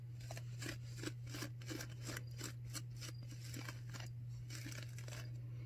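Long manicured nails on both hands scratch and rub a white disposable non-woven surgical face mask of thin, soft, flexible material worn on the face. Irregular bursts of dry, bright scratching and crinkling repeat over a steady low hum.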